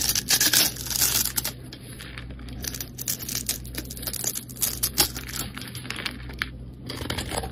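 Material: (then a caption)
Soap. A utility knife blade carves and scrapes a solid, rectangular two-tone pink and white bar of soap held in the hand, leaving shavings piled below. The result is a dense, irregular run of crisp, bright scratching and crackly cutting strokes with short dry bursts and almost no ring, over a faint low hum.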